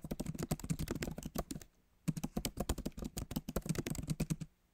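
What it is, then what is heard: Laptop keyboard, plastic keys. Fingertips of both hands type on the plastic keys of a backlit MacBook Pro keyboard set in an aluminum body, producing a rapid stream of short, solid clicks and taps. A brief pause near the middle splits the typing into two bursts.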